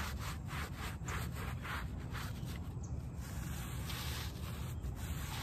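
A small, wet, soapy shag-pile fabric doormat is scrubbed with a plastic hand brush held in one hand while the other hand presses flat on the pile. Steady, rapid back-and-forth rasping strokes blend into a continuous wet, bristly rubbing with a heavy low rumble and faint bright swishes.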